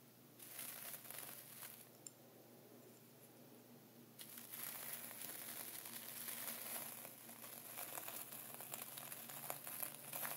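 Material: Plastic, salt.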